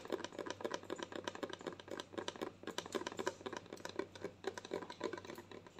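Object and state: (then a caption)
Plastic lotion bottle. Long nails tap rapidly and unevenly on a white plastic lotion bottle with a green cap, held up close. The result is a quiet, continuous stream of dry, hollow plastic clicks with a mid-range body around 380 Hz and bright edges, each tap dying away almost instantly.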